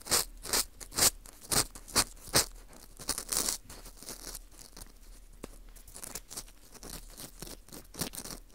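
An orange plastic earpick scrapes inside the hole of a porous dried wheat gluten ring (fu) held in gloved hands. It makes six sharp, bright scratching strokes, a denser burst of scraping, and then softer, continuous high scratching.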